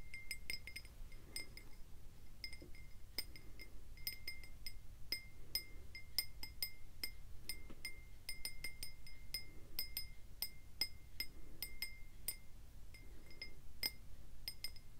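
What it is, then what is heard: Glass tumbler. A hand-sized, clear glass tumbler with a faceted lower part, hollow and empty or nearly so, is held in both hands and tapped and scratched on its side with fingernails. Rapid, irregular, bright glassy clinks and ticks ring briefly at a steady high pitch over a faint low rumble.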